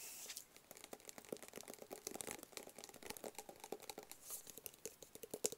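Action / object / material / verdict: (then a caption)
tap / small closed cardboard box / cardboard / none. Fingertips and nails tap and scratch a small, closed, hollow black cardboard gift box. Quick, dry taps with a soft hollow knock near 400 Hz mix with bright, crinkly scratching. The clicks die away almost at once and come in an uneven, steady stream.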